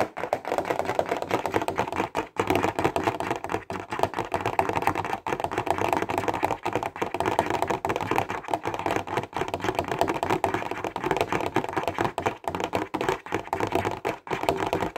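A clear plastic box holding 15 Stabilo highlighters is held in both hands and tapped fast with the fingertips and nails. The result is a dense, continuous stream of dry, clicky plastic taps centered in the mids, with a tone near 780 Hz and brief pauses between bursts.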